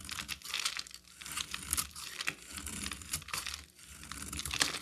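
A solid orange-amber bar of soap, held in the hand, is shaved and carved with a utility knife. The blade makes crisp, dry crackling and scraping sounds in quick, irregular bursts, with most of the energy high and bright and very little low end. Each cut stops short with almost no ring.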